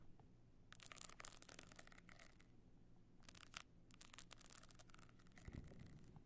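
Long nails scratch near the edge of the pebbled surface of a tilted, rigid box clutch with a stone-chip covering. They make dense, bright, crackling scrapes in two long bursts separated by a brief pause, over a faint low hum. A soft low thump comes near the end.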